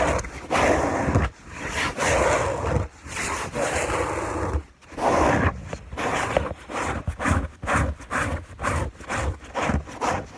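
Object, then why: Fabric bed sheet. Fingernails of one hand scratch a white fabric sheet on a bed, making a dry, rasping rub with a low rumble beneath it. Several long, sustained strokes give way to a series of quicker, shorter scratches, each separated by brief pauses.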